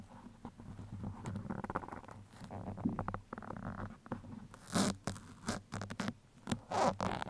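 Steel pins held in both hands scratch the sides of a black foam microphone windscreen. The result is close, dry scratching and rustling over a steady low hum, with a few louder, brighter scrapes.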